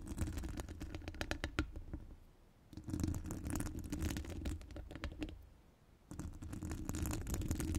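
Long gold acrylic nails decorated with metal charms and rhinestones scratch and tap the hollow steel mesh dome grille of a studio microphone. Dense, irregular bright clicks and scrapes ride over a heavy low rumble. The sound comes in three busy bursts separated by brief quiet dips.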